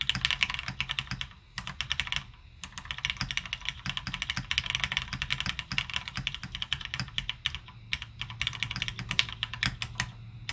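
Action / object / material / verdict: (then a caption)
tap / mechanical keyboard with plastic keycaps / plastic / none. Both hands type steadily with their fingertips on a beige plateless M0110 mechanical keyboard with plastic keycaps resting on a desk mat. Dense, bright, crisp clacks with a faint low thock run throughout, broken only by brief pauses near the start. Each keystroke dies away almost instantly.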